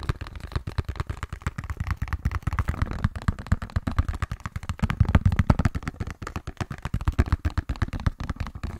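Fingertips and nails rapidly tap and scratch the faces of a small, hollow pink cardboard box with a gold side panel. The result is a dense, steady run of short, dull, hollow thuds with very little brightness, each dying away almost instantly.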